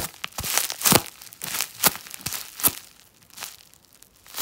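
A wad of clear plastic bubble wrap is held in the hands and squeezed and crinkled with the fingers. Bright, dry crinkling and crackling comes in irregular bursts, with a few sharp snaps standing out and little low end.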